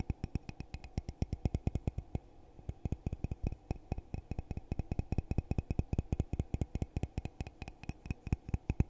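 A hollow red glittery glass coffee mug, held in both hands, is tapped rapidly on the outside with fingertips and nails, producing about 57 quick taps with a brief pause near the two-second mark. Each tap is a short, dry knock with a low, hollow thump and a faint bright click on top that dies away almost instantly.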